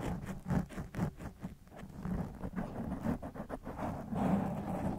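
A black foam microphone windscreen made of soft porous foam is scratched and squeezed with the fingertips and nails of both hands. The result is a dull, muffled rustling and crunching, heavy in the low end with almost no high sparkle, rising and falling in irregular bursts.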